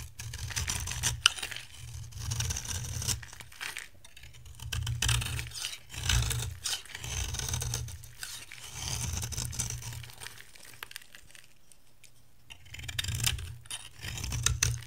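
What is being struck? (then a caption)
Bar of soap scraped by a metal blade. A metal box-cutter blade scrapes and shaves the face of a hand-size, dry yellow bar of soap with a pink outer layer, held in one hand. Crisp, bright, crackling shaving strokes come in repeated bursts separated by short pauses, with a soft low rumble under each pass.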